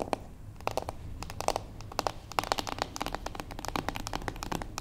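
Long acrylic nails of both hands tap the top edge of a small, closed, beige cardboard gift box standing on its long edge on a wooden table. A rapid, irregular run of short, dry, crisp clicks and knocks centers around 800 Hz, each stopping almost instantly with no ring. A faint low rumble sits underneath.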